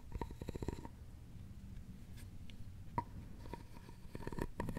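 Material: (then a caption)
Wood. A thin wooden stick scrapes over a hollow, round, openwork carved wooden jewelry box, making quick bursts of dry clicks and rasps at the start and end. In between is a quieter stretch of low rumble and a single sharp tick. The sound is mostly low and woody, with a faint ringing tone near 950 Hz on the clicks that dies away almost at once.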